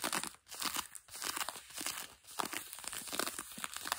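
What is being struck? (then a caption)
Denim jeans fabric. Long nails quickly scratch grey-blue denim jeans stretched over a knee. The result is a dense, rough, bright scraping and crinkling texture that comes in fast strokes with brief pauses between bursts.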